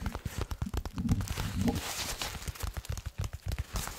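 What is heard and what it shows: A medium-sized black nylon (Cordura-style) tactical plate carrier with MOLLE webbing, probably empty, is held up close and tapped and scratched across its fabric with fingertips and nails. Rapid, irregular, dull low thuds with almost no ring mix with soft, hissy scratching through the middle of the clip.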